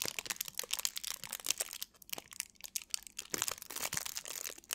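A small piece of thin clear plastic film is held in both hands while long nails and fingertips crinkle and scratch it. The result is a dense run of bright, crackling crinkles with quick, dry snaps and almost no low end. Brief quieter gaps come between the bursts.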